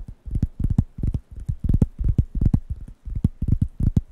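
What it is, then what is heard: Wooden coaster pad. Fingertips tap and scratch the solid, flat surface of a large, thin, round, light-brown wooden coaster pad held in one hand close to the microphones. This makes a rapid, uneven run of soft, dull, low thumps that stop almost instantly, with faint scratchy grain between them.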